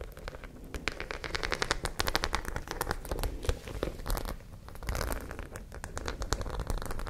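Long nails scratch across the studs of a white studded fabric pouch held close. They make a dense run of quick, bright crackling clicks in uneven bursts over a low rumble. The clicks swell and fade throughout.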